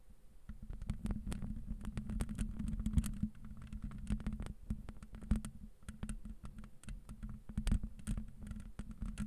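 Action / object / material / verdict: scrape / metal mesh microphone grille scratched with fingernails / metal mesh / none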